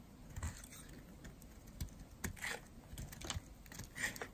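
A metal blade shaves curls off a solid, dry yellow-and-white striped bar of soap held in the hand. Quiet, irregular crisp scraping cuts and soft snaps are heard, with short bright rasps and low thumps.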